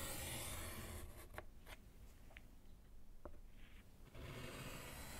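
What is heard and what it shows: A gloved hand scratches and writes with pink chalk on a small, solid handheld slate chalkboard in a wooden frame. Steady raspy scratching opens and closes the clip. In between is a quieter stretch with a few short, bright chalk taps and strokes.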